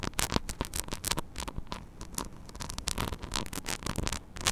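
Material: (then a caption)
Metal mesh. Long nails scratch rapidly across the small, hollow metal mesh grille of a mini microphone, making dense, crackly scraping bursts. Each stroke is bright and scratchy over a rumbling low thud, with very little ring between strokes.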